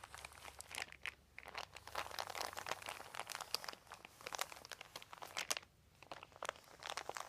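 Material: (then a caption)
Plastic. A large, thin, crumpled white plastic sheet is scratched and pressed by the fingertips of both hands. Dense, bright crinkling and crunching come in rapid bursts with brief quieter pauses, each crackle dying out almost instantly.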